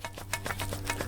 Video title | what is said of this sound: Atrim CUTLASS / DUSSACK from Kingston Arms - REVIEWED | you can hear that the hilt has come loose again